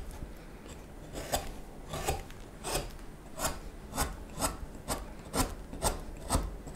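A small steel knife scrapes and shaves the neck of a solid wooden spoon blank in a steady series of short, dry rasping strokes. Each stroke is a brief bright scrape over a low background rumble.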